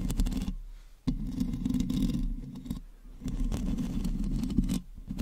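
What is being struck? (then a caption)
Metal mesh microphone grille. Long natural nails and fingertips scratch and rub the uncovered hollow metal mesh head of a hand-sized black USB microphone, first with both hands and then with one. The result is a dense, close, low rumbling scrape with most of its energy down low. It comes in sustained bursts that start abruptly and fade between strokes.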